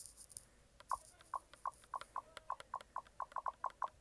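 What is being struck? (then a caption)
Plastic handheld game console button and grip. A fingertip clicks and rubs the shoulder button and grip of a white plastic Logitech G Cloud handheld game console. Soft rubbing is heard first, then a steady run of short, dry clicks, each with a faint pitched tick near 1 kHz. The clicks are quiet and quick, with almost no ring and a faint bright hiss in between.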